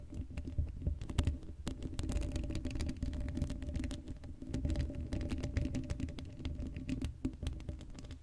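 Long acrylic nails scratch and tap across the hollow black steel mesh grille of an uncovered Blue Yeti microphone, producing a dense run of quick clicks and scrapes. The sound is dominated by a deep, boomy low rumble, with faint steady midrange tones ringing underneath and very little brightness on top.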